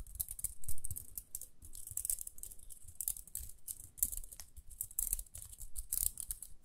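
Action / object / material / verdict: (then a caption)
scrape / small plastic round hair brush with bristles / plastic / none. Long nails scratch and flick the toothed rim and dark central bristles of a small round pink plastic hair brush held in both hands. The result is a steady run of quick, dry, bright scratches and crisp clicks with almost no ring, over a soft low rumble.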